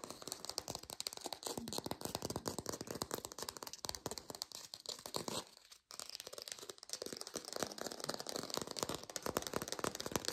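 A textured artificial plastic orange is fast-tapped in a lo-fi recording, producing a dense stream of quick, dry, bright clicks with a rattling, crinkly texture. The tapping stops briefly just before the six-second mark, then resumes at the same rapid pace.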